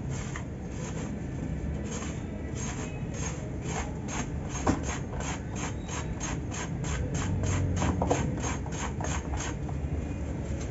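A metal knife blade shaves and scrapes the face of a hand-sized, solid, dry, crumbly grey cement block held in one hand over a basin. Quick, fairly even rasping strokes repeat throughout with a dry, bright hiss over a steady low rumble. Powder and dust fall off the block.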